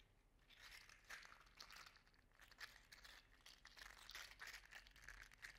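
A hand-sized, segmented green-gold metallic 3D printed plastic articulated slug toy is rolled over a hand and squeezed between the fingers, so its segments click together. A quiet, dense stream of small crinkly clicks and rattles runs throughout, bright with a sharp tick near 1.9 kHz and little low end.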